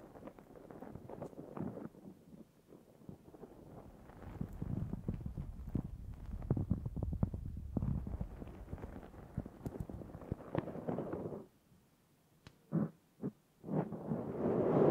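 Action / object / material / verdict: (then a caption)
scrape / foam microphone windscreen / foam / none. Long nails of both hands scratch a black foam microphone windscreen on a Zoom H6 recorder, making a dense, rough crackling rustle with a heavy low, muffled rumble. The scratching builds in intensity through the middle and then drops to near silence, broken by two brief scrapes. It then resumes and swells louder at the end.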